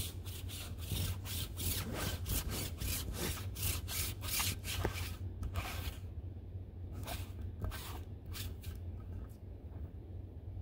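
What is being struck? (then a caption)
Ribbed fabric throw pillow. Fingertips and nails scratch and rub across the ribbed cover of a large, soft, stuffed dark-blue corduroy-like fabric throw pillow resting on a lap. Rapid, bright, brushy scratching strokes come densely for the first half, then thin out into sparser, separate swipes. A steady low hum runs underneath throughout.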